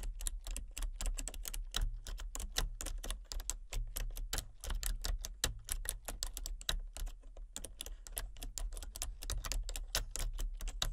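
Fingertips type rapidly on a full-size plastic computer keyboard with a colour-changing backlight, producing a steady stream of short, bright key clicks. A low, constant hum sits underneath the tapping throughout.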